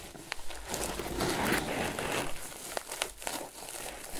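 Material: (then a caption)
Twine. Fingertips and short nails scratch and rub the top of a medium, hollow, lidded rectangular basket crocheted from grey paper or jute twine, with a toggle button at the front. A dry, crinkly rustle swells and fades steadily, broken by a few sharp, bright ticks.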